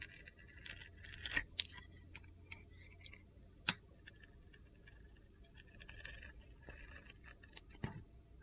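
A steel utility knife blade carves and scrapes shavings off a solid rectangular bar of soap with a blue glitter coating and gold star studs, held in one hand. Quiet, gritty, bright scraping is broken by a few sharp, crisp clicks that die away almost at once, over a faint low hum.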